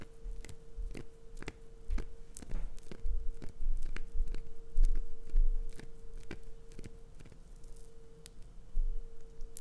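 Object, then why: Glycerin soap bar. Long acrylic nails scrape and scratch the carved surface of a solid green glycerin soap bar held in a palm. Sharp, bright scratching clicks repeat at an uneven pace, about 105 per minute. A steady tone near 470 Hz hums underneath.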